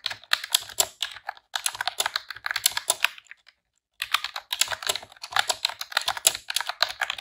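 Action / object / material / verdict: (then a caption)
tap / plastic computer keyboard / plastic / none. Rapid typing on a pink retro-style plastic computer keyboard with round keycaps, pressed with long press-on nails and fingertips. Bright, sharp clicks clatter in quick bursts, with a brief silent pause near the middle before the typing resumes.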